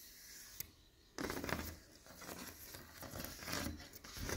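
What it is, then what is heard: Stained glass window panel. Fingernails tap a leaded stained glass window panel of textured clear, green and pink glass, and fingers and palm rub over its surface. A single sharp tick sounds, followed by a short quiet pause. Then comes a steady, swelling scrape and hiss of skin dragging across the bumpy glass, with soft low thumps beneath a bright rasp.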